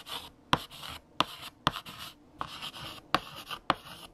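A hand writes with lavender chalk on a large, flat black chalkboard. Bright, dry scratching strokes alternate with several sharp, short taps of the chalk against the board, each dying away almost instantly.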